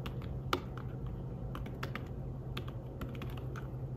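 Fingertips tap the keys of a slim fabric-covered tablet keyboard while typing, making soft, short, dry clicks in an uneven rhythm. One tap near the start stands out louder than the rest, and a steady low hum sits underneath the whole clip.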